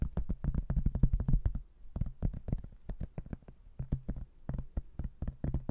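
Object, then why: Cork-backed hardboard placemat. Fingernails scratch and tap the cork back and edge of a thin, solid cork-backed hardboard placemat with a laminated front. The result is rapid, irregular, dull knocks with a low, thumpy body and very short decay, mixed with light scratching.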